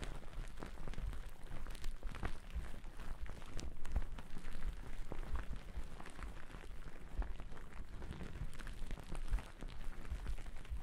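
Two wooden-backed natural bristle brushes brush and scratch across a thick white cotton terry cloth towel draped over the microphone. The result is a steady, muffled, low-heavy rustling, dotted with frequent crackly scratching strokes that continue throughout.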